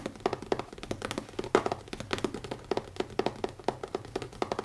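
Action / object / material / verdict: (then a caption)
tap / leather-covered notebook / leather / none. Fingertips tap quickly on the cover of a new leather notebook. A rapid, uneven run of short, soft taps sounds with a dull, muted tone centered around 400 Hz. Each tap dies away almost at once with no ringing.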